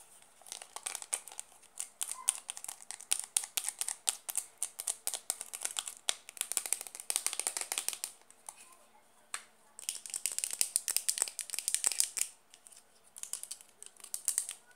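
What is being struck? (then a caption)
Small plastic blush compact. Long nails tap fast and hard on a small, hollow, round white plastic blush compact with a pink label, which is later opened to show the pink blush pan. The taps come as rapid, dry, bright clicks with almost no low end and no ring, in dense bursts broken by short pauses.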